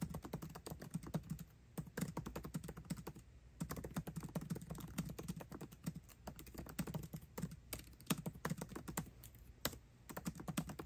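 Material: Plastic.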